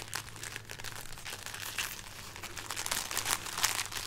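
A string of dried red chili peppers is held up and rubbed and scratched with painted nails and fingertips. It makes dry, bright crinkling and crunchy scratching in quick, irregular bursts over a faint steady low hum.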